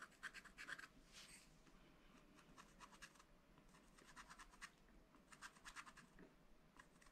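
A wooden stylus scratches fine lines into a black-coated sheet on a scratch-art paper pad. Quiet, dry, bright scratching comes in quick, irregular bursts of short strokes, with brief pauses between clusters and a faint low background hum underneath.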